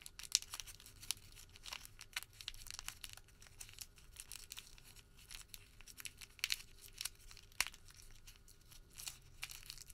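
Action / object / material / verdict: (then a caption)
scrape / small rolled paper receipt / paper / none. A small rolled white thermal paper receipt is twisted and pinched between fingertips, making a quiet, dense crinkle. Bright, dry crackles and sharp snaps come in uneven bursts over a faint low hum, with no ringing after each one.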